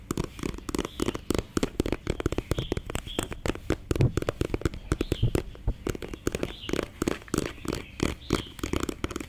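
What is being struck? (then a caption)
Plastic concealer stick. A slim, hollow black plastic concealer stick with a beige label is held close and tapped and scratched with fingernails. It makes a rapid run of dry, hollow, low-pitched taps, each dying away almost at once, with light scratching between them.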